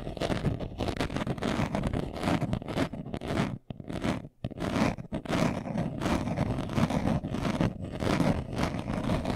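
A brown leather-covered glasses case, hand-sized, hollow and closed, is held in both hands and scratched fast with short nails and fingertips. The result is a dense, continuous stream of rapid, dry scratching with a low, hollow body. Two brief pauses break it near the middle before the scratching resumes at full pace.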